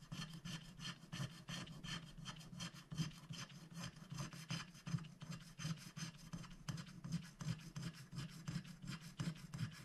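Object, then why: Scratch-art paper sheet scratched with a wooden stylus. A wooden stylus scratches a flower shape into a black-coated scratch-art paper sticker sheet, held flat by one hand, in dense back-and-forth strokes. The result is a rapid, uneven run of dry, rasping scratches with bright high hiss, over a steady low hum.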